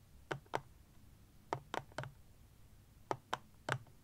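Fingernails tap eight times on the plastic surface of a black plastic power bank standing upright, in groups of two, three and three. Each tap is a short, dry click with a faint low body and a bright edge. The sound dies out almost at once against a quiet background.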